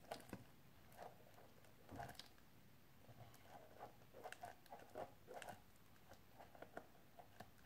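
A small, hollow, rectangular clear plastic storage case with something wrapped inside is held upright in both hands and tapped and scratched along its edges and face with painted fingernails. Quiet, irregular, clicky taps with a hollow mid-pitched tone are broken up by soft scratching. Each tap dies away quickly.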